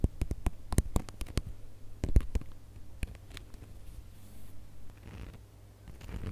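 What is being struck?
Glitter-coated plastic star ornament.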